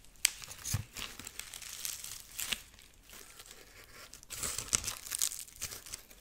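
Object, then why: Corn husk figurine. Long nails scratch and rub the dry ears and head of a dried corn husk rabbit figurine held up close, making bright, crisp crinkling and rustling scrapes. Sharp ticks and clicks stand out at times against a soft, papery hiss, with brief quieter pauses between bursts.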